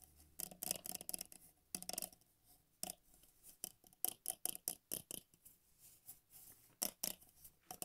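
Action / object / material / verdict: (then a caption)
tap / clear glass drinking tumbler / glass / none. A medium, empty, hollow clear glass tumbler held in bare hands is tapped and scratched by fingertips and nails on its walls and base. The result is quiet, bright clicks and scratchy rasps in irregular bursts, each very short with almost no ring.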